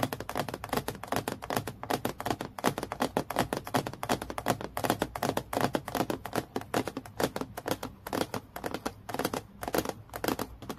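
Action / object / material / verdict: tap / acrylic plastic clipboard / acrylic plastic / none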